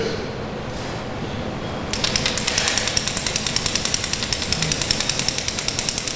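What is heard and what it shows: A crankbait ("rattle trap") fishing lure is shaken so the rattles inside click rapidly and sharply, a bright high-pitched rattling that starts about two seconds in over a low steady background hum. The clicking imitates bait fish in the water to draw fish to the lure.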